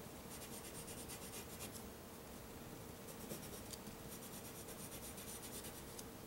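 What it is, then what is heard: Drawing paper under pencil strokes. A white pencil tip is drawn and scratched across a flat sheet of black drawing paper on a solid backing in short strokes. The result is a quiet, steady dry scratching with bright, papery bursts of rasp that come and go over a soft, continuous low hiss.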